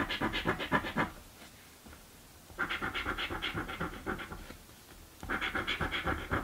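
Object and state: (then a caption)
Paper scratch-off lottery ticket. A coin scratches a thin, flat blue cardboard paper scratch-off lottery ticket (a birthday scratchie) held with fingertips on a dark table. Three bursts of rapid, dry scratching strokes come about four per second, with quiet pauses between them.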